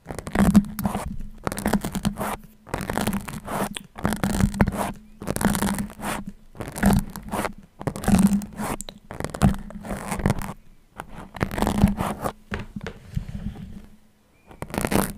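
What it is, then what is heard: Metal pins pulled from a foam mic windscreen. Long-nailed fingers draw metal sewing pins out of a red foam microphone windscreen studded with them. Each pull makes a close, scraping, rustling friction on the foam. The bursts repeat steadily over a low, steady hum near 200 Hz, with brief quiet gaps between them.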